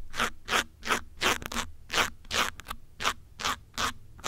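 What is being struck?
Foam microphone windscreen.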